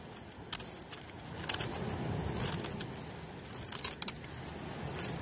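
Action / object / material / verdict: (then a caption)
scrape / bar of soap cut with a metal knife blade / soap / none. An old, very dry, crunchy oval bar of pale soap is held in the hand and shaved with a metal knife blade outdoors on a beach, with flakes falling as the blade scrapes and cuts across the solid bar. Bright, crisp scraping and crackling bursts stand out over a steady low rumble, with faint vehicle sound in the background.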